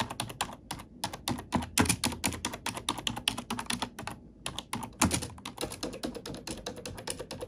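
Fingertips and nails type and tap on a black plastic computer keyboard. The result is a fast, steady stream of short, bright clicks with soft low thuds underneath, broken by brief pauses near one second and just past four seconds.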